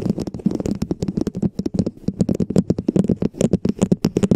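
Long nails and fingertips tap and scratch a hollow red plastic dome cap fitted over a microphone. The result is a rapid, continuous run of short, hollow, low thuddy taps with a tonal knock around 190 Hz, each dying away almost instantly, overlaid with faint scratchy, bright clicks.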